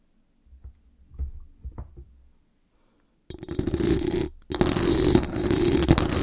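Very long acrylic nails scratch and tap fast on the hollow metal mesh dome grille of a large condenser microphone with a decorated body. A few soft, low, thumping taps and light scrapes come first, then a short silence. Loud, dense, bright scratching follows, with a strong midrange hum in the mesh, a brief pause, and a return to continuous rough scraping to the end.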